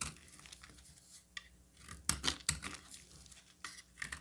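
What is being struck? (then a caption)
Bar of soap cut with a metal blade. A solid oval cream bar of soap is held in the hand while a metal box-cutter blade cuts and scrapes along its edges. The result is a quiet series of bright, crisp scraping and crackling strokes, with a few sharper, louder cuts standing out. A faint low hum sits underneath.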